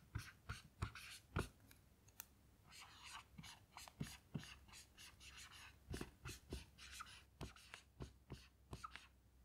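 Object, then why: Melamine whiteboard with dry-erase marker. A blue dry-erase marker writes text on the smooth white surface of a small melamine lap whiteboard lying flat. Quiet, sharp taps as the tip strikes the board alternate with short, bright, scratchy squeaks from the strokes. Each sound dies away almost at once over a low, steady background hum.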